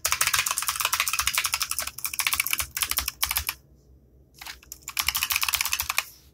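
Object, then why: Plastic mechanical keyboard keys. Fingertips type rapidly on a compact 60% mechanical computer keyboard with black plastic keycaps, clicky switches and RGB backlighting, resting on a desk mat. Dense bursts of sharp, bright, short clicks come in quick runs, with a brief quiet pause near the middle before typing resumes and tapers off.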